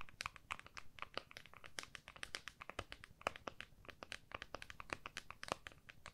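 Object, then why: Smartphone in a clear plastic case. Long nails on both hands tap rapidly across the back of an iPhone in a clear plastic case, held flat with its back facing up. The result is a quick, uneven stream of sharp, bright clicky taps that die away almost instantly, over a quiet low rumble.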